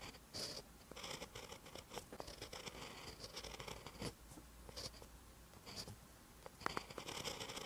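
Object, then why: Pen tip on a paper notebook page. A pen held in the fingers writes green Hangul on a paper page of a spiral notebook. The pen tip makes a soft, bright, scratchy sound, with short strokes and taps over a low steady hum.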